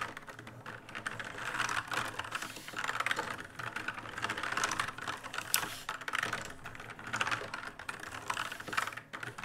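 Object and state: Plastic mechanical keyboard.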